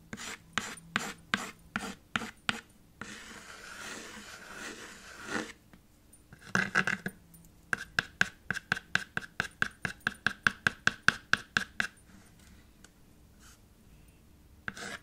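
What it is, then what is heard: Chalk writing on a small chalkboard. White chalk held in the fingertips writes letters on a small black chalkboard slate in a red wooden frame resting on a table. Short, bright, scratchy strokes come in quick bursts with a squeaky tone around 1.5 kHz. Between the bursts there is a softer, steady rubbing stretch and brief pauses.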